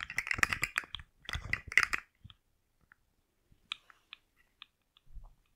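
A rainbow segmented plastic slug fidget toy is held by its head and shaken, its loose articulated segments rattling against each other in two dense, bright clattering bursts. Sparse, sharp plastic clicks follow, then a soft low shuffle at the end.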